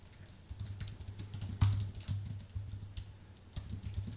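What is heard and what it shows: Rapid fingertip typing with both hands on a white Apple full-size keyboard with an aluminium base and plastic keys. Quick, short, bright key clicks patter unevenly, with a louder cluster near the middle. A steady low hum around 100 Hz sits beneath them throughout.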